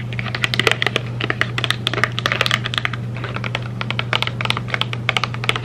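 Long red nails tap quickly and irregularly on a small rectangular printed cardboard M&M's candy box, held in both hands, apparently closed and probably with candy inside. Dozens of short, dry, bright clicks stay close together, like typing on a keyboard, over a steady low hum.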